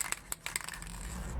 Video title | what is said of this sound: Hand Painted High Heels Tutorial | shake it first until you hear the ball move